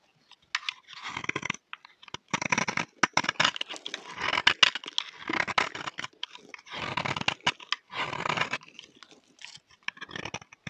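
A solid, dry, cream-colored rectangular bar of soap is held in the hand and scraped with a utility knife blade. The scraping comes in repeated bursts of dry, crisp, gritty crunching, mostly bright and high with little low end. Short pauses separate the strokes.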